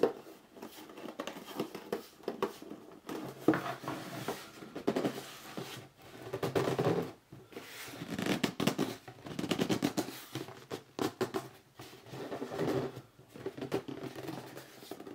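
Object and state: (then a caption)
Cardboard box being gripped and rubbed. A hollow red cardboard box is gripped in both hands and turned upright while fingers grip and rub its sides. The result is a steady run of squeaky, scratchy rubbing and dry crinkly scrapes in bursts, with short pauses between them.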